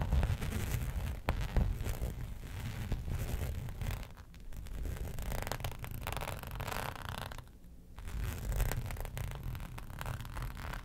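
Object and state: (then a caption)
Faux leather sheet scratched with nails. Long nails scratch across a flat black embossed faux leather sheet lying on a fur rug. The result is a steady, dense rasping scrape with a heavy low rumble, dipping briefly quieter around the fourth and eighth seconds.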